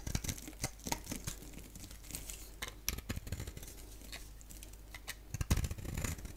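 A box-cutter blade scrapes and shaves a palm-sized, solid oval bar of soap with a black shell and yellow interior, the blade held in one hand and the bar in the other. Short, crisp scraping and crackling strokes repeat throughout with a bright, dry edge over a low, soft rumble. A denser, louder cluster of shaving strokes comes near the end.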